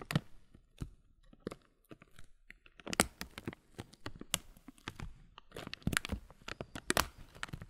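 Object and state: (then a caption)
Clear plastic muesli bag. A clear plastic muesli bag full of granola has its loose top film rubbed and crinkled with the fingers. Dense, irregular crinkles and sharp crunchy snaps reach bright highs, with a brief quieter stretch near the two-second mark before the crinkling picks up again. Each snap cuts off almost instantly.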